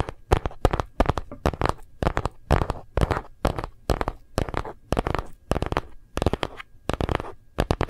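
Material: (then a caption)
Plastic. Fingernails and fingertips tap quickly on the back and edges of a phone in a hard plastic gold-print case held in both hands. The taps come in rapid clattering bursts of short, dry clicks with a soft, low thump underneath, each dying away almost at once.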